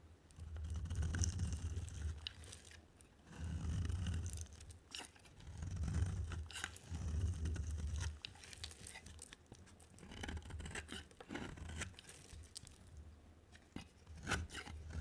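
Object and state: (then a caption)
Dry bar soap being carved. A solid white and yellow bar of dry soap is held in the hand and carved with a utility knife blade. The result is a run of dry, crunchy scraping and shaving strokes in uneven bursts, with a low rumbling body and faint bright crackle over quieter pauses.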